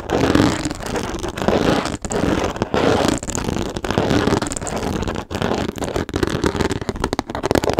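Long nails scratch quickly and steadily across the textured top of a small, hollow, hard plastic storage case with a teal lid, held in both hands. The result is a dense, continuous rasping hiss centered in the low-mid range, with brief dips between strokes.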